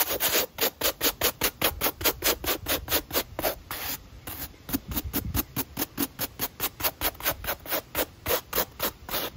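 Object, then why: Foam shoe midsole and bristle brush. A damp, wooden-backed brush with pale natural bristles scrubs the edge of the white textured foam midsole on a black Nike running shoe held in hand. About 36 quick, bright, scratchy strokes come in a steady back-and-forth rhythm, with a brief softer pause around the middle. Each stroke is a short, dry hiss with little low end.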